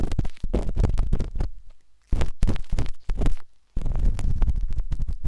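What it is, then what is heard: Silicone microphone ear. A metal-tipped dot stick with a wooden handle scratches inside the soft, hollow canal of a pinkish-white silicone binaural microphone ear. The result is close, muffled, low-heavy rubbing and dense tapping, in bursts broken by brief silences.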